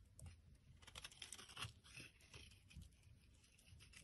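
A solid blue bar of soap held in the palm is scraped with a metal blade, peeling off flaky shavings. Quiet, irregular crisp scrapes and crinkly flake sounds repeat quickly, with bright high hiss over a soft low rumble.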